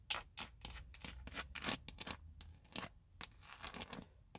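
Long nails scratch and tap the hollow molded plastic airbag cover on a car steering wheel hub. The result is a series of short, bright, dry clicks and raspy scrapes with a faint low hum underneath.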